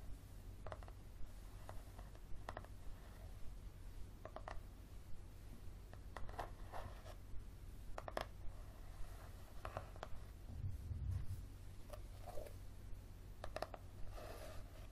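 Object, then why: Paperback book. A paperback book with a yellow cover is held on its side while fingernails tap and scratch along its spine. The result is soft, dry, irregular taps and brief scratching strokes, all quiet over a steady low hum.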